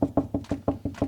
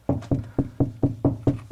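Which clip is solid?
The first.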